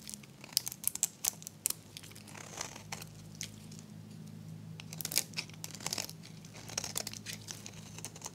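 A metal blade shaves curls from the surface of a solid, dry, hot-pink oval soap bar. Crisp, bright scraping and crinkling bursts repeat over a steady low hum.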